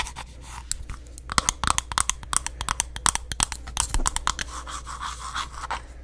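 Long nails scratch and tap on a green glass candle jar with its wooden lid on, held close to the microphone. A quick run of sharp, dry clicks cuts through a steady low hum, with softer scratchy rasps filling the gaps between taps.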